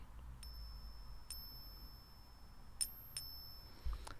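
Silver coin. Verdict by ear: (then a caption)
Real. A silver coin balanced on a fingertip is tapped several times, each light tap giving a faint, high, thin ringing tone that lingers over a low background rumble. The quiet ring marks it as real silver.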